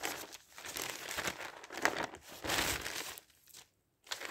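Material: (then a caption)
Paper. Thin newsprint sheets of a newspaper are turned and smoothed flat with the fingers. The result is a run of bright, papery crinkling and rubbing bursts, with a short silent pause before a final rustle.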